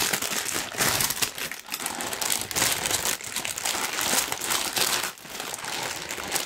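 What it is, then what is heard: Tissue paper sheet being crumpled. A large, thin pink tissue paper sheet is crumpled with the fingertips. It makes a dense, continuous crinkling and crackling that is bright and airy, with almost no low end. Brief dips occur around 1.6 and 5.2 seconds before the rustling picks back up.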